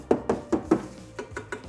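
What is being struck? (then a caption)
Exercise bike steering column, iron. Knuckles knock eight times on the iron neck (steering column) of a Xiaomi Yesoul C1H exercise bike during unboxing, as if checking a used car. Four firmer knocks are followed by four softer ones. Each gives a short, dull, mid-pitched tap that dies out almost at once.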